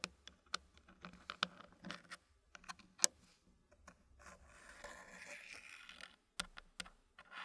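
A fingertip presses and taps the last solid dark-wood puzzle pieces into a filled, green-painted wooden tray. Sharp, bright wooden clicks come at irregular intervals, with a soft scraping rustle in between as the pieces settle.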